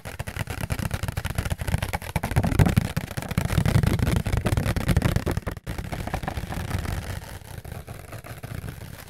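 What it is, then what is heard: Paper plate. A round, white, thin, flat disposable paper plate with a fluted rim is held in both hands close to the mic and tapped and scratched with fingertips and nails. The result is fast, dense, papery tapping with a heavy low thump and some scratchy texture on top. It pauses briefly just before the 6-second mark, then continues and grows softer toward the end.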